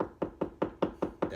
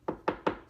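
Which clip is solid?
The second.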